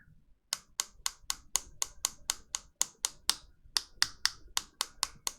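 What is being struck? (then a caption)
Polycarbonate keyboard switch plate. The polycarbonate switch plate of a Fox Lab Leaf 60 keyboard, with foam between the plate and the PCB, is tapped 19 times in a steady series of short, sharp clicks. Each tap gives a bright, glassy, acrylic-like ping that dies away almost instantly, with very little low end. The foam deepens the sound slightly.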